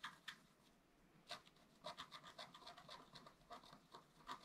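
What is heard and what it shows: A wooden stylus scratches the coating of a flat, black-coated scratch art paper card, and the hand moves over to the squirrel area of the picture. Quiet, bright, dry scratching comes in short, rapid strokes, with a brief lull near the start before the strokes pick up again.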